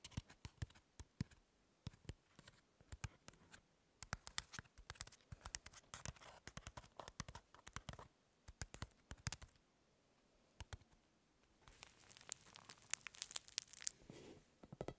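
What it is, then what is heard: Crumpled aluminum foil ball. A crumpled lump of aluminum foil rests on a table while long fingernails scratch it and fingers press it. Sharp, bright crackles and clicks come in quick, uneven bursts, with a near-silent pause around ten to eleven seconds. A denser stretch of crinkling follows before it fades at the end.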